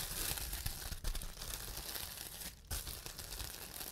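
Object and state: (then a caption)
Plastic bubble wrap being handled and popped. Fingertips press and pinch bubbles on a large clear plastic bubble wrap sheet to pop them, making a dense, continuous crinkling and crackling with bright snaps over low thumps. The popping briefly drops away near the two-and-a-half-second mark, then resumes just as busily to the end.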